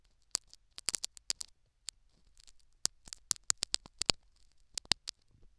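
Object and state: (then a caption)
Foam plug in silicone ear scratched with metal needle. A metal syringe needle scratches and picks at a foam plug set in a silicone dummy ear microphone. The result is a quick series of sharp, dry, high-pitched clicks and tearing crackles with almost no low end. Fainter rustling scrapes fill the gaps between them.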